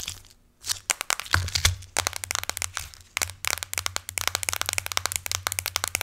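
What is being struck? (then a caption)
Aluminum smartphone back. Long acrylic nails tap and scratch across the solid aluminum back of a silver iPhone lying face down. The result is a rapid series of sharp, bright clicks with quick scratchy scrapes, each dying away almost instantly over a faint low hum. The taps grow denser and more steady toward the end.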